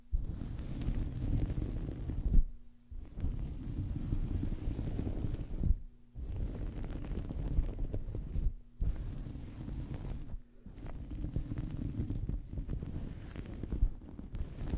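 A small, soft fabric towel draped over a microphone is scratched and rubbed with the long fingernails and fingertips of both hands. This produces a dense, muffled, low rumbling scrape with almost no high end. The sound is broken by four brief pauses before the rubbing resumes.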